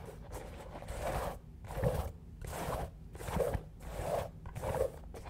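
Fingernails scratch along the surface of a single black shoe covered in small hard studs or rhinestones, held up close to the mic. Rough, gritty scraping strokes come in repeated swells of crackly midrange texture over a low rumble, with brief quieter gaps between passes.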